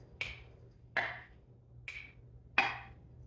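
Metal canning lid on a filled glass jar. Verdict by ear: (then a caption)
Sealed. The metal lids on sealed, filled home-canned glass jars are tapped four times, each tap giving a short, bright, high-pitched click that fades quickly. This is the sound of a properly sealed jar; the pitch varies with headspace, lid size and jar type.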